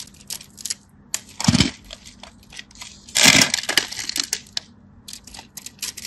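A craft knife scratches and cuts through a solid cream bar soap, slicing it into cubes. Quick, bright, dry scraping ticks are broken by two longer, louder crunching cuts, over a faint steady low hum.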